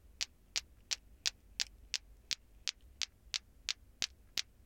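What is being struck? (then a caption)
Plastic ball clacker toy. A green glowing toy clacker, two small solid plastic balls on cords with a handle, is swung by hand so the balls knock together. About fourteen short, bright, dry clacks repeat in a fast, fairly steady rhythm, each dying away almost instantly over a faint low hum.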